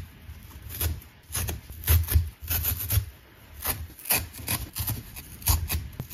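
A thin, flat, dry green abrasive nylon scouring pad, fibrous and solid, is held in both hands and pulled apart with the fingertips while an unused orange sponge lies untouched at the side. Repeated bursts of dry, rasping tearing come in uneven clusters, with a deep rumble under bright, crackly fiber snaps. Each rip stops almost instantly, with no ring.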